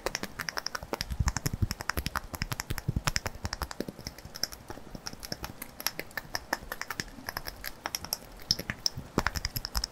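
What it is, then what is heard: Glass jar. A small glass jar filled with pink contents is held and tapped and scratched with fingertips and nails. Rapid, irregular bursts of sharp, dry clicks and ticks follow one another closely, each dying away almost instantly, over a soft, scratchy rustle.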